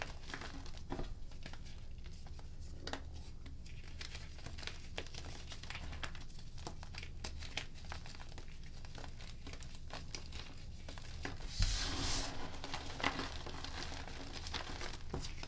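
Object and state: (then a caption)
Crumbling gym chalk. Bare fingertips and long nails rub and crumble handfuls of loose pink gym chalk powder and small solid chunks heaped on a plastic sheet. Dense, irregular crinkling and gritty crumbling play over a low hum, with a brighter, louder burst of crushing near the end.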